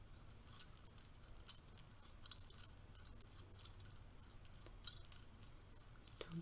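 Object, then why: Stack of thin metal curtain rings. A stack of thin, bronze-colored metal curtain rings is held in the hand while the thumb and fingers flick and rub them. The rings clink and jingle against each other in quick, bright, tinkly bursts, over a quiet, low background rumble.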